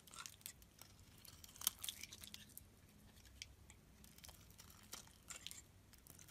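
A utility knife blade shaves chunks off a solid oval pink soap bar held in the palm. The quiet, bright scraping and crisp crunching cuts come in short bursts, with one louder cut standing out early.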